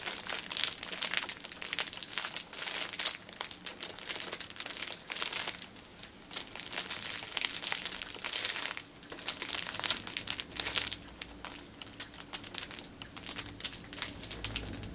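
A six-pack of pocket tissues wrapped in clear cellophane film rests on a table while fingertips and nails press, tap and crinkle the wrap. Dense, bright crinkling and sharp little ticks run steadily throughout, with brief softer lulls, and almost no low end.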